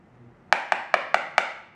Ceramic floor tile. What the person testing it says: that's not solid that's next to this one with a crack